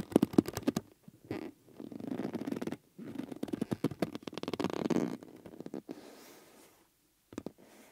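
Fingers rub, press and squeeze the outer surface of a yellow rubber bellows with metal rims, making it wrinkle and stretch. Dense rubbery squeaks and low, grinding creaks come in bursts separated by short pauses, ending with a brief squeak after a quiet gap.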